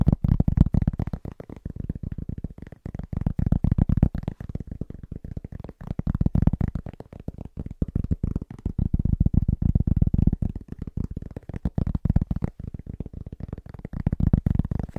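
Fingertips of both hands tap quickly on a large, round, flat, solid cork trivet. The taps are dull, low, muffled thuds that die away almost instantly, arriving in dense, uneven bursts that swell and ease in waves throughout.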